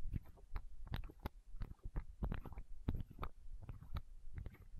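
Long nails tap and scratch a small, hollow, clear plastic eye drop bottle held against the microphone. The result is a rapid, uneven series of soft, muffled taps with faint scratching between them, heavy in low, boomy thumps and short decays.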